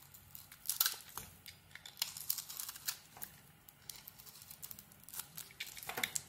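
A utility knife blade scrapes and carves thin curls from a hand-sized solid white bar of soap with a black glittery coating, held in one hand with taped fingertips. Many quick, dry, bright scraping and crinkly tearing strokes come in irregular bursts, with almost no low end.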